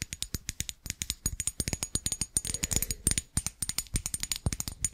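A small, glossy, green-glazed ceramic Christmas tree figurine about hand height, likely hollow, is held in one hand and tapped with the tips of long acrylic nails on its ridged glazed tiers. A rapid, uneven stream of dry, bright clicks and taps is heard, with a faint low thump under each hit and almost no ring.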